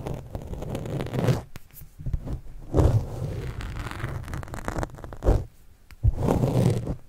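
A white stylus pen scratches and writes with fast strokes across a black foam windscreen on a microphone. Close, muffled scraping and rustling comes in bursts separated by brief quiet gaps, with deep low rumbles and very little high-end brightness.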